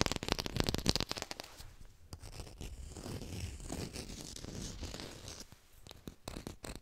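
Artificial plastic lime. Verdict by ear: Fake.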